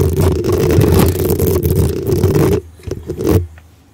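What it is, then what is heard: Metal mesh microphone grille scratched. Long acrylic nails scratch and tap the hollow black metal mesh grille on top of a desktop USB microphone with a rhinestone-decorated body. A loud, dense, rumbling scrape with a low boom and a steady mid hum runs for about two and a half seconds, then drops to a few quieter taps and short scratches that fade out.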